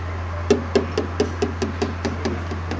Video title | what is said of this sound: basic&tpye rating training video | A solid sound means no damination has taken place. A soft sound indicates a damaged area.